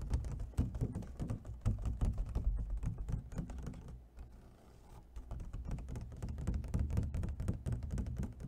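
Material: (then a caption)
Plastic. An empty, hollow clear plastic clamshell food container, held in one hand, is tapped quickly with fingernails on its edge and corner. The result is a rapid, irregular run of short, dull, hollow low clicks and thunks, briefly easing off near the middle before picking up again.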